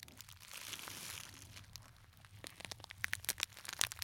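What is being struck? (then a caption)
Glitter fabric clutch purse with metal frame. Fingertips squeeze, crumple and scratch a small, hollow gold glitter fabric clutch purse with a metal frame clasp, held close to the microphones. A soft, bright rustling swell fills the first half, then gives way to quiet, sharp, dry crackles and ticks that come in quick bursts. There is almost no low end or ring.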